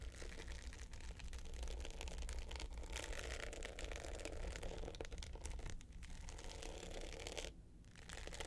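Long nails of both hands scratch the dark glitter top of a small rectangular hard box clutch with gold metal sides lying flat. The result is a steady, dense, gritty scratching with a low rumble underneath and bright grainy detail. The sound briefly quiets near the six-second mark and again near the end before resuming.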